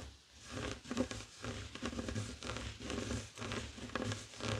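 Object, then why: Woven fabric heart coaster. Fingertips and short nails scratch a flat, heart-shaped woven tapestry fabric coaster lying on a wooden table. The dry, raspy scratching comes in uneven bursts of rough texture with a soft low thump underneath. Each stroke dies away almost at once.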